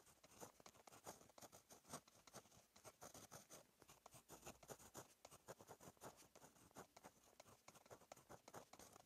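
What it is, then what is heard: Ballpoint pen writing on paper. A blue plastic Monami 153 ballpoint pen, held in the fingers, writes Korean script on a lined page of a Rhetorica paperback notebook lying flat on a solid backing. Quiet, rapid scratchy strokes come in a dense, uneven stream with bright, hissy upper tones and little low end. Each stroke stops quickly, with no lingering ring.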